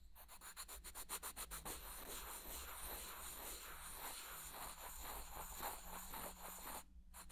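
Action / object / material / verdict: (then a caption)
scrape / small light-wood blocks / wood / none. Small solid light-wood blocks are held in both hands near the ear and rubbed and scraped together. A quick run of distinct dry rubbing strokes gives way to a steady, grainy scraping that runs on with a bright, hissy edge and a low rumble beneath. It dips briefly near the end before resuming.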